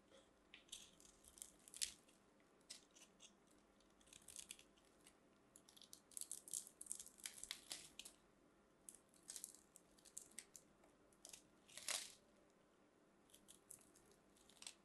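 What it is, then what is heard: Bar of soap being carved with a blade. A small blade carves crosshatch cuts into a solid, palm-sized white bar of soap held in fingers with long manicured nails, chipping off flaky pieces. The result is quiet, bright, crisp scraping and crackling in short, dry bursts with almost no low end or ring.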